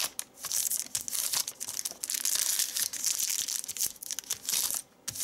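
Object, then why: Thin paper sheet. Hands fold and crumple a large, thin, white crinkled paper sheet on a leather seat with their fingertips. The result is a steady run of bright, crisp crackling and rustling with almost no low end, swelling and easing as the paper is worked, with a brief lull near the end.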